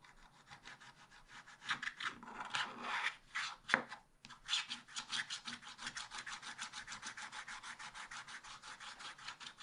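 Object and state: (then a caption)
Scratch-art paper being scratched. A wooden stylus scratches the black coating along the bottom edge of a scratch-art paper page in a spiral pad, held flat by one hand. Dry, bright rasping strokes start irregular and swell, pause briefly near the four-second mark, then settle into a quicker, steady rhythm of short scrapes with almost no low end.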